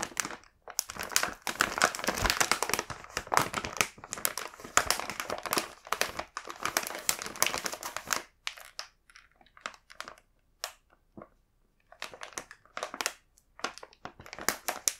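Fingertips handle a full, large printed plastic bag of chocolate cookies, crinkling and rubbing the film. Dense, bright crinkling runs almost continuously for about eight seconds, then breaks into short, separate crackly bursts with brief silences between them.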